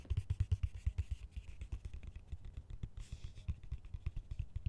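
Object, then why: Plastic colander. Fingertips and nails scratch and tap the top rim and slotted sides of a large, hollow, empty green plastic colander. Rapid, uneven taps land as short, dull thumps with a low hollow body, over a faint, bright scratching rustle. Each tap dies away almost at once.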